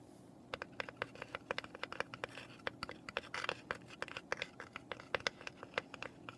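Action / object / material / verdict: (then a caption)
tap / small raw pine box / pine wood / none. Long nails scratch and tap the top and sides of a small, hollow, unfinished raw pine box lying on its side on paper. A rapid, irregular series of short, sharp taps with a hollow woody tone rings out, with bright clicking edges and quiet scratching in between. Each tap dies away almost instantly.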